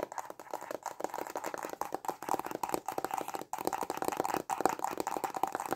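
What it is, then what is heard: Cardboard pen box. A small, hollow, white printed cardboard stylus pen box is held in both hands and tapped quickly with short fingernails and fingertips. The result is a dense run of dry, hollow, mid-pitched clicks and knocks that die away almost instantly, broken by a few brief pauses.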